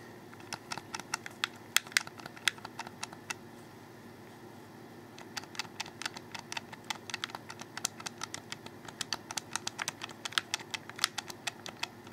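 Fingertips repeatedly press and click the triggers and bumpers from underneath on a black, hollow, handheld plastic Xbox 360 controller. Quick, sharp, bright plastic clicks come in irregular bursts, with a quiet pause of about a second and a half near the middle. Each click stops almost instantly over a faint steady background hiss.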